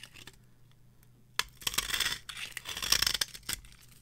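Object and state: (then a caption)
Dry bar soap being scraped. A small metal blade scrapes curls off the face of a solid, palm-sized orange bar of varnished dry soap held in the hand. After a quiet start, crisp, bright scraping and crackling strokes come in short bursts. There is very little low end, and each stroke stops dry with almost no ring.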